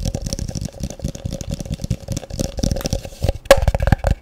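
A medium, translucent, frosted plastic tub, hollow and empty, is held in one hand and tapped rapidly with the fingertips and nails. The result is a fast, dense stream of short, dull knocks with a faint hollow ring near 550 Hz, and one sharper, louder tap stands out near the end.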